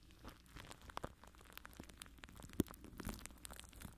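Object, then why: Plastic cling film over a microphone. Fingertips scratch and rub the side of clear plastic cling film stretched over a microphone mesh. The result is a quiet, continuous crinkling and crackling rustle, broken by sharp little pops and a louder snap near the middle.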